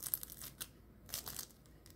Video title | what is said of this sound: ISPANAKLI KOL BÖREĞİ 💯 5 dakikada pratik çıtır çıtır hazır yufkadan tarifim❤️ #ıspanaklıkolböreği | Crujiente. ¿Puedes oír este crujido ?